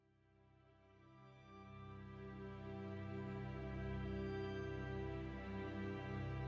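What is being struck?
Nothing is struck.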